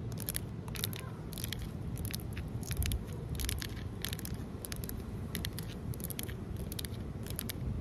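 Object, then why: Outdoor concrete ledge. Long nails scratch and tap across a large, solid outdoor concrete ledge. Short, bright, crackly scrapes and taps come in quick bursts over a steady low rumble.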